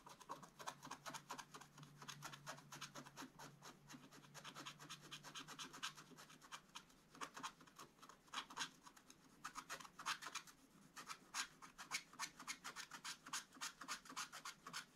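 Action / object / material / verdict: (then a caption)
scrape / scratch-art paper scratched with a wooden stylus / coated paper / none. A wooden stylus scratches cloud shapes into a black-coated scratch-art paper page while the other hand holds the book flat. Quiet, rapid, irregular scratchy strokes with a bright, papery rasp continue throughout, some passages denser and smoother, others broken into short separate strokes.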